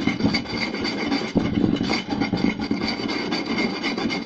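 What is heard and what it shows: Two hands scratch and tap a round, solid wooden plate with their fingertips and short nails. A fast, continuous flurry of dry, rasping scratches is broken by soft, hollow wooden taps, with a warm woody body and a bright, gritty edge.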